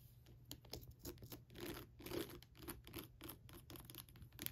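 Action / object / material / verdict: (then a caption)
scrape / plastic skull lamp / plastic / none. Long pointed nails tap and scratch around the nose, eye sockets and teeth of a hollow, lit skull lamp with a textured, glittery plastic shell. Quick, irregular clicks and dry scraping with a plastic crackle come through, each tap dying away almost instantly, over a low steady hum.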